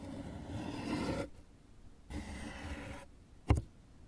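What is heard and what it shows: Fingers and nails scratch the far wall and rim of an open, hollow, empty brown corrugated cardboard box with a raised flap. Two rough, hollow-sounding scratching passages of about a second each are followed by a single sharp, boomy tap that dies away quickly, and the sound sits mostly in the low range.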